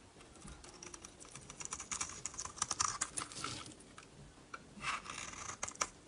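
A utility blade shaves thin curls off the face of a dry, solid rectangular purple bar of soap with a blue rim, held in the hand. Quick, crisp, bright scraping and crackling bursts come in an uneven run, some sharper and louder than others, each dying away almost at once. Little low end sits under a faint background hiss.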